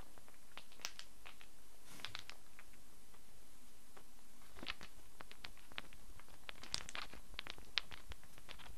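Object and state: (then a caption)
Small wooden blocks. A handful of small, solid wooden cubes is held in cupped hands and shaken so the blocks clatter together. The result is a quiet stream of scattered, dry, bright clicks and ticks that come in loose clusters over a soft, steady background.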